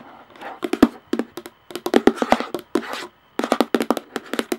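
Long nails tap quickly across the top and rim of a hollow plastic lid on a clear plastic jar, while one hand holds the jar. The taps are short, dry, hollow clicks with a low-mid tone and almost no ring. Soft scratchy brushing sounds fill the space between bursts, and there are brief pauses.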